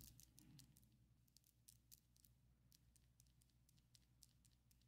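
Long coffin-shaped ombre acrylic fake nails on both hands tap and click against each other in a quick, irregular patter. Each contact gives a short, bright, dry click with almost no ring, over a faint low hum.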